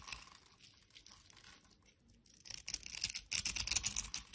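A utility knife blade scrapes and shaves a solid orange bar soap held in the hand, already partly carved into a textured shape, as crumbly orange shavings fall onto a wooden surface. Faint, dry, bright scratching in the first half grows into denser, louder crisp scraping after about 2.5 seconds, loudest in the final second.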